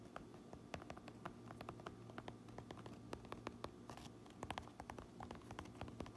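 Long nails tap and scratch the red stitched brim and black front panel of a fabric trucker cap with a Uinta patch. The result is a quiet, steady run of short, dry clicks with a faint scratchy rustle midway, over a low, constant hum.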